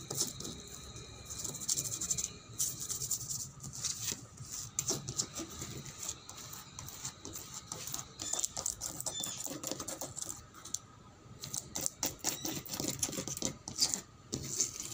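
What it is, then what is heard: Painted wooden table being scratched. Fingernails scratch and pick at the peeling, cracked reddish-brown paint on a painted wooden tabletop. The result is a continuous run of dry, bright scraping and ticking that is mostly high in pitch, with short, quick-fading clicks and faint low rustling beneath.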